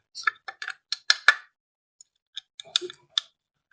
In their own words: This cover feels like plastic. Sounds like plastic.